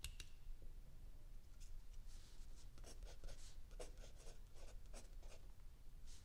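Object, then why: Paper notebook page under a pencil. A mechanical pencil writes continuously on a lined paper page of a spiral-bound notebook lying flat on a wooden table, while an open paperback book sits still under the other hand. Soft, bright scratching strokes come in quick bursts over a quiet, steady low rumble.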